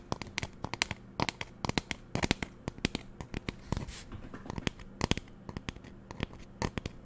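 Long nails tap a hollow pink plastic spray bottle, first held upright and then lying on its side, in about 35 quick, irregular clicks. Each tap is a short, dry, bright tick that stops at once with no ring, over a faint, steady low hum.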